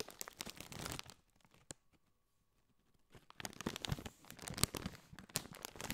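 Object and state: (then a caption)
Metallized plastic chip bag. A partly filled Doritos chip bag of foil-lined, metallized plastic is squeezed and crinkled with both hands, giving dense, bright crinkling and crackling. The crinkling stops after about a second, leaving near silence broken by one sharp snap. It then resumes more loudly with scattered crisp crackles to the end.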